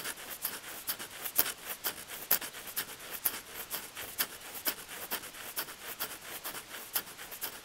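Fingertips scratch and tap the surface of solid, weathered wooden bench plank boards right beside a small microphone lying on the wood. A steady run of short, dry taps rises out of a bright, scratchy rasp, quiet overall with almost no low end and each tap dying away almost instantly.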